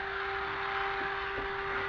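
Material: Nothing is struck.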